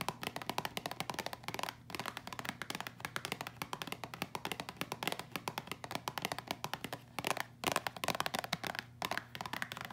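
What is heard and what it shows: A small, hollow, printed cardboard box of Caribbean Dreams instant ginger tea, holding sachets, is held in both hands and tapped quickly with long acrylic nails. The result is a steady stream of rapid, crisp, dry clicks with almost no ring, pausing briefly around 1.8 and 7.5 seconds, over a faint low hum.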